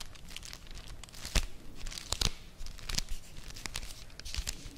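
A Vanini chocolate bar in its printed cardboard sleeve is held close to the microphone while long nails tap and scratch its flat cardboard surface. Dry, crinkly scratching runs throughout, broken by sharp, bright taps that die away almost instantly.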